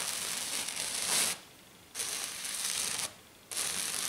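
Long dark nails on both hands scratch and tap hard and fast on a flat silver glitter sheet, probably glitter foam. The sound is a bright, hissing, rasping scrape in three bursts, separated by short quiet pauses.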